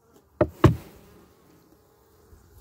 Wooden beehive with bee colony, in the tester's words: you just knock on the hive and if you can hear listen you'll hear him buzz for just a second and then it'll go away